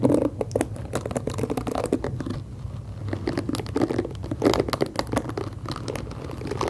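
Long acrylic nails scratch the black plastic bristles and tap the body of a hand-sized pink plastic detangling hairbrush held close to the microphone. The result is a steady stream of dry, crackly scratching broken by quick, sharp clicks, with most of the sound sitting in a dull low-mid range.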